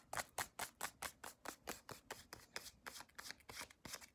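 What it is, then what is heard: Soft plastic lotion tube. Long acrylic nails tap and scratch along a small white CeraVe cream tube made of soft plastic, held in both hands. About twenty quick, dry, bright clicks with short scratchy tails follow in an uneven rhythm, each dying away almost at once with little low end.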